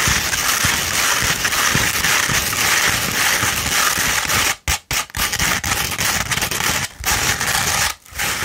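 Long red nails scratch an upright tube of rolled 100-grit sandpaper, producing a dense, continuous, bright gritty rasp. The scratching breaks off in a few brief gaps near the middle and end before resuming.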